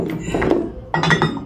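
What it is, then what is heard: Metal candle holders. Old, heavily used metal candle holders, dented and still bearing wax drips, are handled and knocked together. Metallic clinks ring out in a quick series of short, bright hits. The holders are genuine antiques from Bukidnon, Mindanao.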